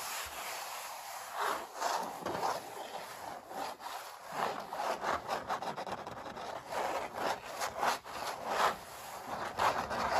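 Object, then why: Painted stretched canvas. Fingertips rub and scratch back and forth across the textured paint of a stretched, painted oil-painting canvas. Dry, raspy scraping strokes with a midrange body swell and fade in a steady rhythm, several louder strokes standing out, with very little low end.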